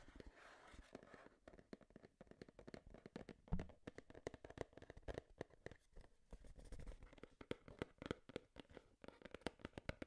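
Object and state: Cardboard box tapped and scratched with fingernails.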